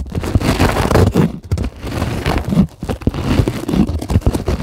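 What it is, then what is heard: Polyethylene foam sheet. Long acrylic nail tips tap and scratch a white polyethylene packing foam sheet lying on a table. The result is a dense run of soft, low crinkling scrapes and muffled taps that cut off almost instantly, with little high-end brightness.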